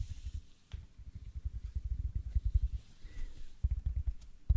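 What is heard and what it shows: A large, soft, solid, rectangular yellow porous foam sponge is held in both hands close to the mic and squeezed and scratched with fingertips and nails. The sound is a dense run of muffled, low, thumping crackles and soft rustles, rising and falling in quick irregular bursts with almost no brightness.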